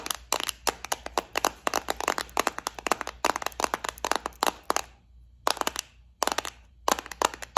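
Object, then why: Clear plastic compartment case with small metal studs. Long nails tap and scratch a small, flower-shaped clear plastic bead organizer full of gold studs. The result is rapid bursts of sharp, bright clicks centered around 1 kHz, with short silent pauses near the five- and six-second marks. Each click is dry and dies away almost instantly.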